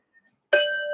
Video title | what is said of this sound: Waves 04: Resonance | the volume changes but the pitch itself the sound stays the same